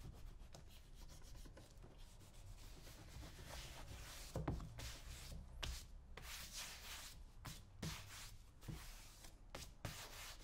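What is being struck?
Leather boot shaft.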